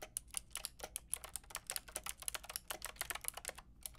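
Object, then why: Plastic mechanical keyboard with round keycaps. Long nails and fingertips tap quickly across the round plastic keycaps of a white-pink backlit mechanical keyboard, with one hand typing near the end. The result is a steady run of quiet, sharp, bright clicks that stop dead with almost no ring.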